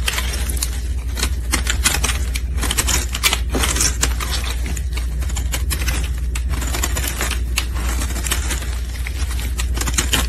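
A metal utility blade scrapes a solid pink soap bar held in gloved hands, shaving off powdery flakes. Quick, bright, crackly scraping strokes follow one another steadily over a constant low hum.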